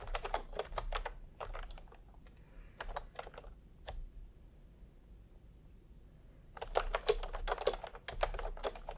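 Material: Plastic.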